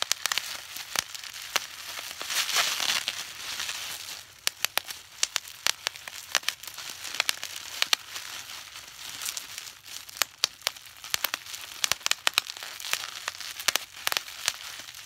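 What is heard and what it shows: A sheet of clear plastic bubble wrap with air-filled bubbles is held up in both hands while fingertips pinch and squeeze the bubbles. Bright, high crinkling runs throughout, broken by many sharp, dry pops that stop instantly, with almost no low end.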